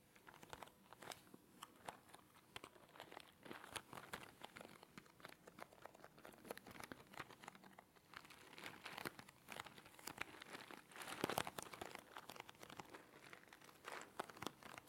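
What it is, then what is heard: Small cardboard box handled and tapped. A small, hollow orange cardboard box is held in the hand close to the mic and handled and tapped with fingertips. Quiet, rapid papery taps and crinkling scratches run throughout, with crisp, bright edges and little low end. A denser, louder burst of crinkling comes near the eleven-second mark.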